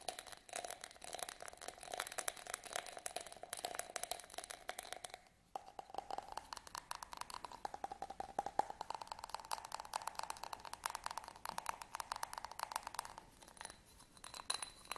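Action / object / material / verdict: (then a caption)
scrape / small studded glass votive holder / glass / none. A small, hollow, empty yellow studded glass votive candle holder, held in the hands, is scratched and tapped with fingernails. The result is a dense, fast stream of dry clicks and scratchy rattles with a faint glassy tone near 830 Hz and bright hiss on top, with a brief pause around the middle.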